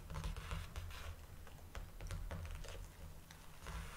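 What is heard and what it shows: Long dark nails tap on the flat plastic over the label area on the back of a large clear plastic clamshell blister pack. The result is a quick, uneven run of short, dry clicky taps with bright edges over a steady low rumble.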